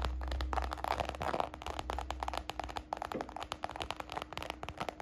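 Long nails and fingertips rapidly tap and scratch the textured side of a small, hollow, red glossy croc-embossed patent faux leather baguette purse. The result is a dense run of sharp, dry clicks mixed with short scratchy crackles. A steady low hum runs underneath.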